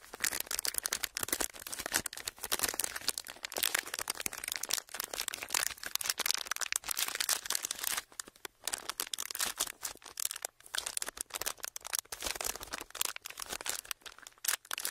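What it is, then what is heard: Crinkled clear plastic packaging. A small, thin, hollow, empty clear ridged plastic blister sheet is held in both hands and crinkled and squeezed with the fingertips. It makes dense, bright crackling and crinkling with sharp, short snaps and almost no low end, broken by brief quiet gaps near 8 and 10.5 seconds.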